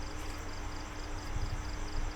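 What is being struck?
Nothing is struck.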